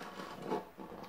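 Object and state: Nothing is struck.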